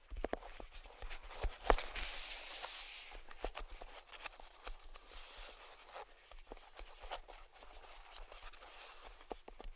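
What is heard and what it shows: Fingertips of both hands tap and scratch the lid of a small, hollow cardboard gift box resting on a table, working around the ribbon bow. Quiet, irregular, dry taps sound with short hollow knocks, broken by a brighter, rustling scratch near the two-second mark. The result is a soft, close, uneven patter of taps and scrapes.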